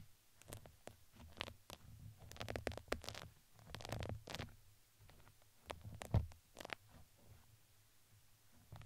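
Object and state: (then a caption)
Fuzzy fabric ring scratched with skewers. Two thin wooden skewers scratch the textured side of a red fuzzy fabric ring fitted around a microphone head. Quiet, uneven bursts of crinkly scraping and rustling come with soft, low rumbling thumps. Short, bright scratchy strokes are scattered between them.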